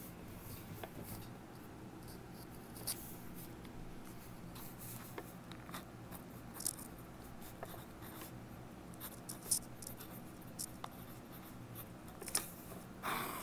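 A mechanical pencil held in the right hand writes on a yellow lined legal pad lying on a wooden table, while the left hand presses an earbud microphone against the pad. Quiet, steady graphite scratching runs throughout, with brief bright ticks and scrapes as the pencil moves across the paper. A louder, broader rustle comes right at the end.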